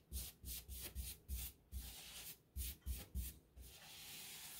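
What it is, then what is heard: Paintbrush stroking a textured drywall wall. A wide paintbrush with a wooden handle strokes wet paint over a solid textured drywall wall next to an open light switch box. About eight quick, separate brushing strokes are heard as soft, bright scrubbing swishes with a low rumble underneath, broken by a longer steady rub in the middle. The clip ends in a continuous, even rubbing sound.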